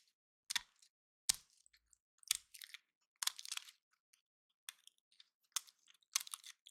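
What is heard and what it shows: Fingertips and nails rub and pluck the scales of a small, hand-sized, dry, solid woody pine cone painted gold and held in both hands. Quiet, bright, dry crackles and crisp clicks come in short bursts separated by silence. Each snap dies away almost instantly, with no low-end body.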